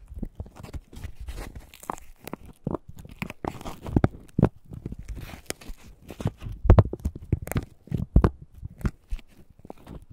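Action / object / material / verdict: scrape / husk leaves on an ear of corn / corn husk / none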